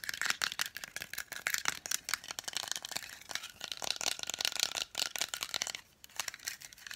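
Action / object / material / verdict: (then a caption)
tap / lacquered wooden nesting doll / wood / none. Long nails tap very fast on a hand-painted, lacquered wooden nesting doll about 15 cm tall and hollow, possibly with inner dolls, while it is turned in the hand. The result is a dense stream of sharp, bright clicks with some light rattling, and a brief lull near the end before the tapping resumes.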